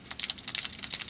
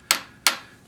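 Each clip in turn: First: paint marker with free-rolling mixing ball (usable). Second: dried-out paint pen, no ball rattle.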